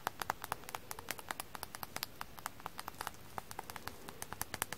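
Fingers tap a frozen floral foam sponge coated in foam dust, producing a quick, steady run of light, dry patter taps. Each tap is a short click with a midrange tone around 860 Hz and a bright edge, dying away almost instantly over a quiet background.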